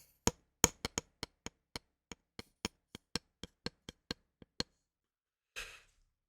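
A ruler is tapped in an uneven rhythm, giving about eighteen short, dry, bright clicks with almost no ring. After a brief pause, a softer rustling brush of noise ends the clip.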